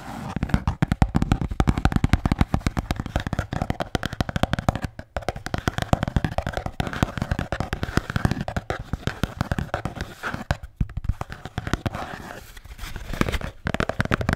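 A blue Bintang beer can holder is tapped and scratched in a rapid, continuous stream of short, dry, low-heavy knocks mixed with scraping. The sound stays busy throughout, with only a few brief pauses.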